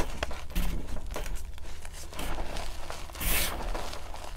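Both hands rake, grab and rub loose pale blue-green gym chalk powder in a large metal bowl with fingertips and nails. The result is a steady stream of soft crunchy, crinkly scratching over a low rumble, with a brighter, hissing swell of powder friction partway through.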